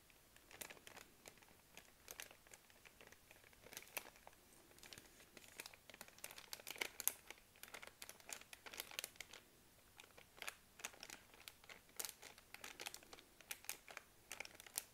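Long nails tap and scratch a full plastic-film baby wipes pack, held and then laid flat, while the hand crinkles it. Quiet, bright crinkling and sharp clicky taps come in irregular bursts, each snapping off almost instantly with very little low end.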